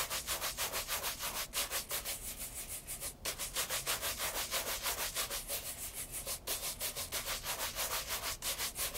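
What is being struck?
Leather loafer brushed with a horsehair brush.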